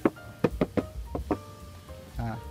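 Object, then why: Motorcycle fuel tank with plastic outer cover. Six short, dull knocks on the plastic-covered fuel tank of a Yamaha New MT-25, whose outer layer is fully covered in plastic. They are tapped to show the plastic sound, in contrast to a Benelli's metal tank. Each knock dies away almost instantly, with no metallic ring, over faint steady background tones.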